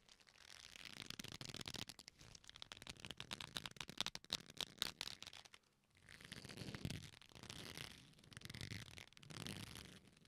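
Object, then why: Leather belt. A black leather belt, a flat solid strap, is folded and bent in both hands, giving quiet, bright creaking and rubbing. A dense rub gives way to a run of rapid crackling creaks. After a brief pause, three softer swelling rubs follow.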